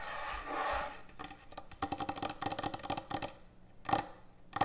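Long acrylic nails and fingertips tap quickly on a large, thick, solid wooden end-grain butcher block cutting board resting on a counter. After a soft scratchy opening, a rapid run of dry, clicky taps follows, each dying away almost instantly, with a faint ring near 800 Hz and a couple of louder raps near the end.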